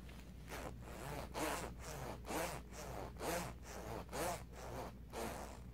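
Fingertips slide the metal or plastic pull of the white zipper up and down on a black Batman-print zip-up hoodie of soft cotton/fleece fabric worn on the body, rubbing along the zipper teeth and the fabric. Four soft, raspy zipping strokes come at a steady pace of about one per second, each a brief bright rasp over a faint low hum.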